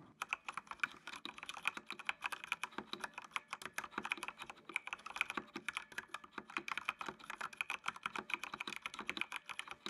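Fingertips type steadily on a full-size black plastic mechanical computer keyboard with RGB backlight, producing a fast run of about 66 sharp, dry key clicks. The clatter is bright and crisp, centred near 2.5 kHz, with almost no low end, and each click dies away almost instantly.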